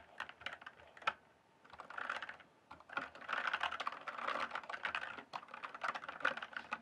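Fingertips type on the plastic keycaps of a full-size RGB-backlit mechanical gaming keyboard. Quick bursts of sharp, clicky keystrokes come with short pauses between them, and the taps are bright and crisp with little low end.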